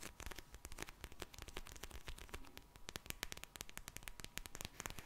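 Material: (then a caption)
Plastic. Long-nailed fingers squeeze and tap a pink plastic gel bead eye mask close to the mic, producing a dense run of sharp, bright clicks and crackles over a soft, low rumbling rustle. A faint steady tone near 1 kHz sits under the quick, dry taps, which die away almost instantly.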